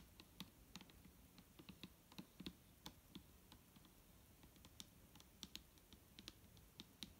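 Long nails tap across the label and body of a large clear plastic micellar water bottle, full of liquid and resting on a table. A quiet, irregular run of short, dry clicks follows, each with a bright tick on top and a soft low thump beneath, dying away almost instantly.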